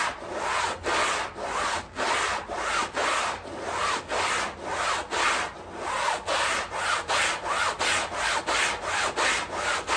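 A long-handled stiff bristle broom scrubs a small, wet, soapy fabric rug lying on tile in quick back-and-forth strokes. Each stroke makes a rough, scratchy swish with a bright hiss and a slightly wet, sudsy texture. The strokes repeat in a steady, fairly even rhythm.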